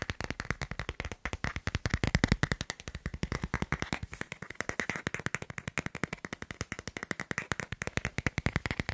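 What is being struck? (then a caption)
Smartphone in plastic phone case. A smartphone in a black plastic case with a white doodle print is held close and tapped quickly on the case back with fingertips and nails, ending with the phone held flat and tapped. A rapid, steady stream of short, dry clicks with a soft low thump and a bright tick fills the clip, each tap dying away almost instantly.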